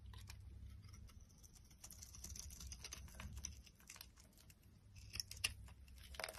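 A solid, dry purple and white striped Safeguard-type bar soap, held in the hand, is carved with a metal utility knife blade. Quiet, dense scraping and fine crackling with a bright, crisp edge run throughout over a steady low hum, with a few sharper clicks near the end.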